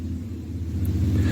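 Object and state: Nothing is struck.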